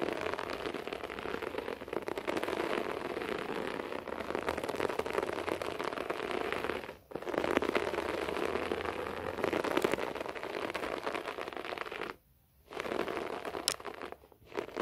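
Fingertips and nails of both hands scratch quickly across a beige short-pile floor carpet, making a dense, crackly, rain-like rustle centered in the low mids. The scratching runs almost continuously, with brief silent breaks near 7 seconds and around 12.5 and 14 seconds before it resumes.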